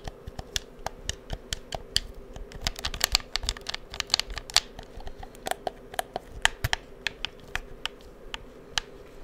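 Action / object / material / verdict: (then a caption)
tap / plastic game controller / plastic / none. Fingertips click the buttons and triggers of a hollow black plastic PS4 controller held beside the microphone. Around thirty sharp, dry, bright clicks come in an uneven run, each dying away almost instantly over a faint low background hum.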